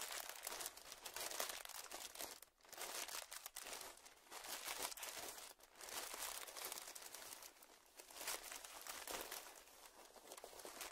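A small, puffed-up clear plastic zip-lock bag lying on dark fabric is pressed and crinkled with fingertips. It makes a continuous, bright crinkling texture with almost no low end, swelling and easing in waves with a few brief pauses.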